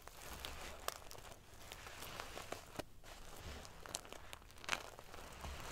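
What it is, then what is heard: Metal sequin pillow. Fingernails scratch and ruffle the metal paillettes on a silver metal sequin-covered pillow. The result is a quiet, continuous crinkly rustle scattered with many sharp, bright metallic clicks and ticks, each dying away almost instantly.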